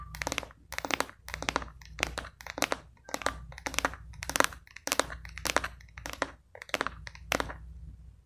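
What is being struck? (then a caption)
Plastic cosmetic jar. Long pink acrylic nails tap and scratch a medium translucent plastic cosmetic jar with a cream-colored lid that appears filled with product. Quick flurries of dry, bright clicks and scratchy crinkling come in short bursts separated by brief pauses, each tap dying almost instantly with no ring. A faint steady low hum runs underneath.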